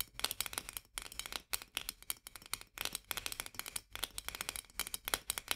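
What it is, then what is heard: Metal jar lid. Long nails on both hands rapidly scratch and tap the rim of a white metal lid on a full glass jar. Quick bright clicks and scratchy ticks come in dense bursts separated by brief pauses. Each tick is dry with almost no ring, and the sound is quiet with very little low end.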